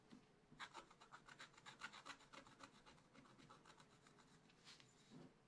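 A wooden stylus scratches the coating off a black-coated scratch art paper page in a small spiral pad, in about seventeen quick, repeated strokes. Each stroke is a short, dry, bright rasp with little low end, and the strokes come at an uneven pace and fade almost instantly.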